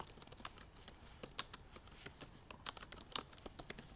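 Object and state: Laptop keyboard typing.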